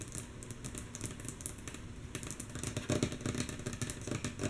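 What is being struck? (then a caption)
Wooden tabletop. Long natural fingernail tips of both hands tap rhythmically on a solid, flat, light wooden tabletop. The taps are quick and mostly soft, each a short, dry click with a bright tick over a dull low knock that dies away almost at once. The rhythm is loose and uneven, with a few louder taps near the middle and end.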